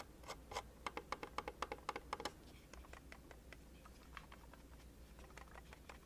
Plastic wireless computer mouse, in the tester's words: this thing definitely passed the shake test in my book basically there's nothing too rattly or wobbly around it Everything feels firm